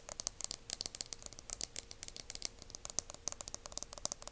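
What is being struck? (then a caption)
Aluminum hair mousse aerosol can. A dark, hand-sized aluminum hair mousse aerosol can, hollow and cylindrical, is held in both hands and tapped and scratched along its body with fingertips and nails. The result is a quiet, rapid run of dry, bright clicks and scratchy ticks that stop instantly with no ring.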